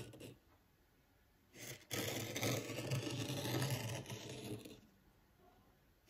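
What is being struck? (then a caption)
Fine sand in a small tabletop tray raked with a wooden rake. A small wooden rake, held upright by the fingertips, scratches and drags furrows through fine white sand in a small black-framed tabletop zen garden. A brief scrape is followed by a short rustle, then a sustained gritty, low-heavy scraping for about three seconds before it fades to quiet.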